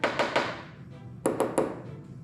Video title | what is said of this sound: Drill and Fill repair on the 944 fiberglass hatch | you can hear that dullness